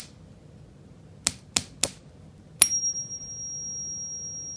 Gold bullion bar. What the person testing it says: 금 같은 경우에는 탱 하면서 되게 맑고 경계한 소리가 나요